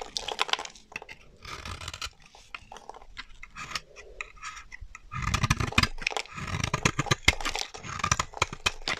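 A solid, dry white bar of soap is held in the hand and carved with a metal utility knife blade, breaking off brittle chips. Dense, crisp crunching and scraping fill the clip with bright, sharp cracks. The cutting grows louder and fuller in the second half.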